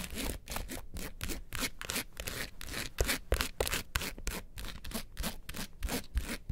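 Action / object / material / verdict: scrape / small hard-shell plastic case / hard plastic / none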